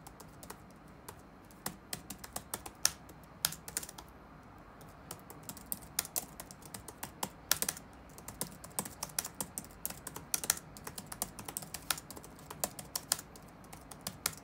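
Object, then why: Plastic laptop keyboard. Fingertips of both hands tap the keys of a dark plastic chiclet laptop keyboard resting on a wooden desk. Dozens of short, crisp, bright clicks come in an irregular typing rhythm, each dying away almost instantly. A few land louder than the rest over a quiet, steady background.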